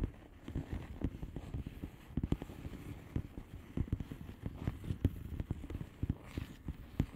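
Long nails tap the bubbles of a flat blue plastic bubble wrap envelope with both hands. A steady stream of quick, irregular taps rings out, mostly dull, low and muffled, with an occasional brighter click. Each tap dies away almost instantly.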